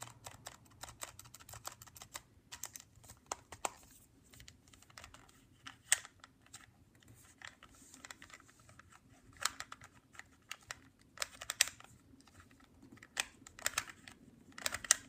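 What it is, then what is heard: Plastic handheld game console tapped. Fingertips and nails slowly tap the small, hollow black plastic back casing of a Nintendo DSi handheld console held in the hand. The result is a quiet series of short, bright, clicky taps with almost no ring, some landing harder than others.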